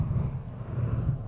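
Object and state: Nothing is struck.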